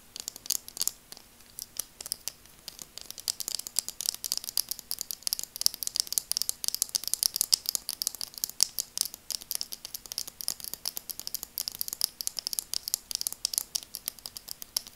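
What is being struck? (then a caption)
Plastic eyeglass frame tapped with fingernails. Long acrylic nails tap and scratch the frame of a pair of burgundy plastic glasses. The result is a steady stream of quick, dry, bright clicks and scrapes with no ring, over a faint, constant low hum.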